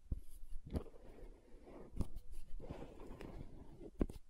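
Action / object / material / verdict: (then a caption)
tap / plastic gel jar / plastic / none. Long nails tap the side wall of a green plastic aloe gel tub held upright. The taps are short, dull, low knocks with almost no ring, separated by soft, muffled scratchy rustling.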